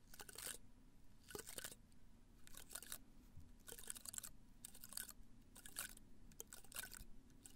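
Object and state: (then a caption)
Potted cactus spines. A small potted cactus in a red-brown pot is tilted toward the mic while fingernails scratch and brush across its spiny surface. Short bursts of bright, crackly scratching come and go over a low, steady background rumble.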